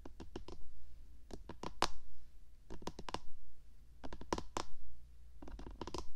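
Long painted fingernails on both hands tap and scratch along the top edge of a white, hollow, box-shaped plastic SR3D binaural microphone body. Quick bursts of sharp, bright clicks come in irregular clusters, with short scratchy drags between them. A steady low hum sits underneath throughout.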